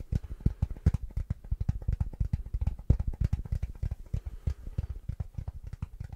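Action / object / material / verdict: tap / hard plastic glasses case / plastic / none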